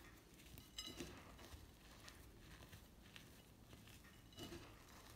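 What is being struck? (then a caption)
Heap of reformed gym chalk on a ceramic plate. Bare fingertips and palms squeeze and rub handfuls of powder and small chunks from a large heap of crushed white gym chalk, pure chalk reformed with water and left dry and crumbly, piled on a white ceramic plate. The result is quiet, gritty crunching and soft rustling over a low rumble, with a few brighter, crackly bursts as the chunks break apart.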